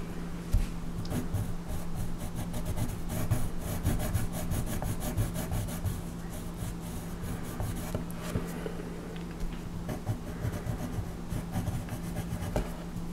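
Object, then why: Wooden colored pencil on paper. A wooden colored pencil rubs and scratches over a flat paper coloring page held down by hand while coloring a horse's tail. Steady, dry scratching strokes with bright, brushy streaks run throughout, over a constant low hum.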